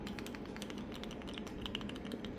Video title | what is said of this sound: Pumpkin Spice Cup Cake ( Halloween) | once you hear it shaking, you know it dry.